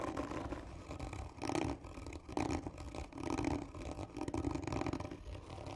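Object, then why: Cardboard tube. Long nails scratch hard across the surface of a black textured cardboard gift tube, a hollow tube seen from the end. Slow, rough scraping strokes swell and fade in repeated passes, with a hollow resonant grain around 300 Hz and a low rumble underneath.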